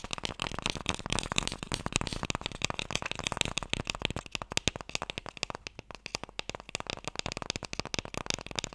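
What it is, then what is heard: Wooden Mikado box. Fingertips and nails tap rapidly on the face and side of a small, hollow wooden Mikado box held horizontally. The result is a dense run of quick, dry, bright clicks and light knocks with very little ring, growing slightly sparser in the second half.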